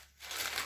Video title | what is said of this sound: Homemade potato chips/crisps. How to make chips at home!! So easy even beginners can do it. | They're crispy, so they should be crispy when you move them around.